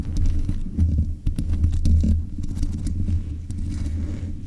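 Long nails scratch the metal mesh grille on the head of a black USB condenser microphone. The scratching comes through as a deep, muffled rumble, with brief brighter ticks scattered through it, and it stays steady with no clear gaps.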